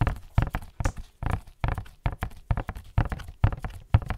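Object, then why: Printed cardboard box. Fingertips in white latex gloves tap a tall, hollow, black-and-white printed Barber Jack cardboard box held close to the microphone. The result is a quick, uneven run of dull, low, hollow thumps. Each knock dies away almost instantly, with little brightness.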